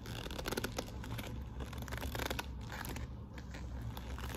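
Long nails and fingertips scratch and rub across the glossy flap of a hollow, quilted patent faux-leather handbag with metal studs. Soft, crinkly scraping bursts flicker over a steady low rumble, brightest near the start and middle of the clip.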